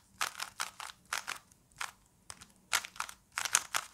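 A small plastic Rubik's cube is held in both hands while fingers turn its layers rapidly, producing about 17 quick, bright plastic clicks and crunchy scrapes in uneven bursts. The clicks are dry and short with almost no low end, separated by brief silent pauses.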